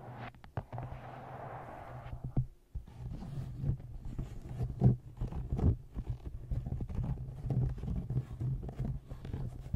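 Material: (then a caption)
Paper. Fingernails tap on the cover of a paperback book, then tap the bottom edge of the book from below. The taps are soft, dull and mostly low, with a steady low hum behind them and a brief hushed stretch early on.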